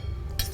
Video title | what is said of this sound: 78 Tours. Emission spéciale fin d'année | on entendait le bruit que ça fait quand vous ça croustille à fond